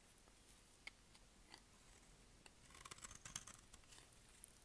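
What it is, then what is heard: Dry bar soap being shaved. A solid, dry white bar of soap with pink specks, held in the hand, is shaved with a utility knife blade. A few sharp, isolated clicks give way to a denser burst of crisp, crackling scraping as the blade cuts into the bar. The sound is quiet and mostly bright and high.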